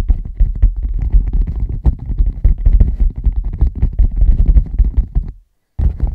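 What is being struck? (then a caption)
Leather bag. A leather bag is tapped rapidly with the fingertips, producing a dense stream of soft, deep thuds with almost no ring. The tapping runs steadily, stops briefly into silence near the end, then resumes.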